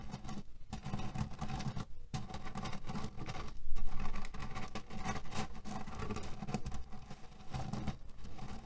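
Fingernails scratch and tap a cotton cushion filled with cherry pits, producing a steady, dense patter of rattling, clicking pits. The sound is mostly low and muffled, with a louder burst of scratching just past the halfway point before it settles back into the same continuous crackle.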